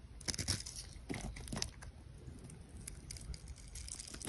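A metal utility knife blade scrapes small cubes off a solid pink grid-scored soap bar held in the hand. Crisp, crunchy scraping and crumbling bursts with bright, hissy edges sound over a low, steady rumble. The soap flakes away in quick, dry little crunches.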